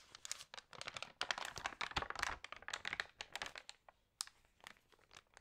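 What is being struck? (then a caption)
Paper magazine pages. Hands turn the pages of an open thick paper lifestyle magazine and rub them with fingertips and long nails. The result is dense, bright crinkling and rustling in quick bursts, with sharp page flicks among them. The sound thins to softer, sparser rubs toward the end.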